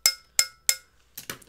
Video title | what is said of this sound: Monday Night Live | can you hear that it's metal